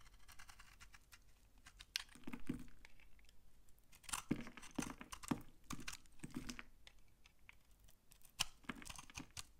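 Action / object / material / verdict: scrape / bar of laundry soap / soap / none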